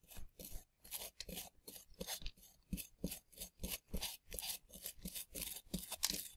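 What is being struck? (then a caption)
Plaster dig block. A gloved hand brushes loose plaster dust off a flat, solid, dusty plaster dig block shaped like a dinosaur fossil with a small bristle brush, while the other hand holds a scraping tool. About 13 short, separate strokes of bright, bristly scratching and rubbing are heard, each with a soft low thump.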